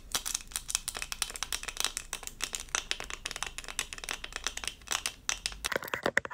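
A small, thin, doll-shaped diamond-painting sticker covered in resin rhinestones on a plastic backing is held in both hands and scratched with long acrylic nails. The result is a dense run of bright, dry clicks and scratches, each stopping at once with no ring, and most of the energy sits high.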